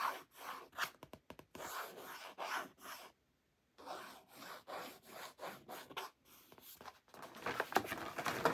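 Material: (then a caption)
Laminated cardboard. Fingertips and painted nails rub and scratch along the glossy surface of a thin, flat, hand-sized laminated cardboard "Salad Specials" recipe card held in the other hand. The result is a quiet series of dry, papery scratching strokes at an uneven pace, with a brief silent pause in the middle before the rubbing resumes and grows slightly louder.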